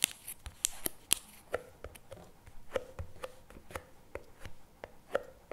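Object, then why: Paperboard tub with plastic lid. A CremaNovi paperboard chocolate spread tub with a plastic lid stands on a table while fingertips and nails tap quickly on the lid and the paper cup sides. About a dozen short, dry taps with almost no ring: the first few are bright and clicky, and later ones carry a soft hollow mid tone around 500 Hz.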